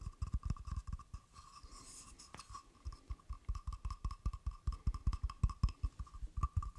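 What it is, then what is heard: Carved wooden frog guiro. Fingertips and nails tap and scratch along the ridged back of a hand-sized carved wooden frog guiro with a hollow mouth opening, held in one hand beside the mic. A quick, uneven run of dull, low, short taps is heard, broken around the two-second mark by a softer, brighter scratch. A faint steady tone near 1 kHz sits under everything.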